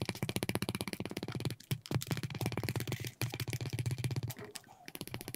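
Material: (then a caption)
Leather. A wooden burnishing slicker held in the fingers rubs back and forth along the edge of a flat, thin, solid piece of red dyed veg-tan leather lying on a cutting mat. It makes a fast, steady series of short, dry, buzzing friction strokes with a low, throaty tone, broken by a few brief pauses before the rubbing resumes.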